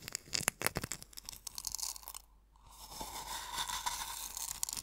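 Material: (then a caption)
Salt. Fingers press, rub and scratch coarse sea salt crystals in a small hollow wooden bowl, giving sharp, bright crunches in quick, irregular bursts. After a brief near-silent pause, the sound turns into a steadier, brighter grinding scratch that builds and continues to the end.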